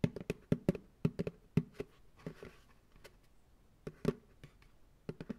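An empty white plastic ice cream pail, turned upside down on a lap, is tapped on its hollow bottom with fingertips and nails. The result is a loose, irregular run of dull, low, hollow knocks that die away almost instantly, with a few quieter taps between the louder ones.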